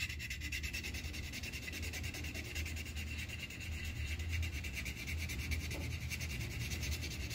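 The tip of a yellow wooden colored pencil rubs back and forth on a thin white paper coloring sheet resting on a clipboard, coloring in an upper petal of a flower. The result is a steady, continuous scratchy rubbing with a low rumble underneath and a bright, papery hiss on top.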